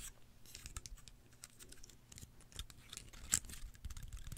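A small, dry, brown woody pine cone with open scales is held in both hands close to the microphone and scratched and plucked across its scales with long nails. Quiet, irregular, dry crackling clicks and scratchy rasps come through, bright and crisp on top with a soft low rumble underneath. One sharper snap stands out near the end.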